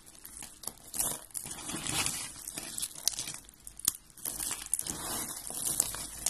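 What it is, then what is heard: Dry soap flakes being crushed. Fingers with red nails crush and rub white and blue dry soap flakes. Dense, dry crackling and crunching fill the clip, bright and high with little low end, with sharper snaps standing out among the steady crinkle.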